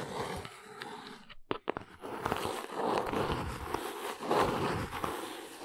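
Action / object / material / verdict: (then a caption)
scrape / small cardboard box / cardboard / none. Long nails and fingertips scratch and tap the top and sides of a small brown cardboard box resting on a rug. Dry, papery scratching runs throughout, broken by a brief pause with a few sharp taps in the middle, then resumes in louder, rustling bursts.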